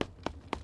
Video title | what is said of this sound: Katie's Forecast is Cold Enough to Freeze Eggs... Even your clothes! | it's hard as a rock i mean actually i probably shouldn't have done that without gloves because it hurts but it is hard as a rock it's frozen solid